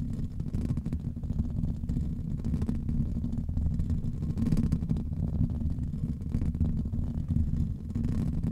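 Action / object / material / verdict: scrape / foam microphone windscreen / foam / none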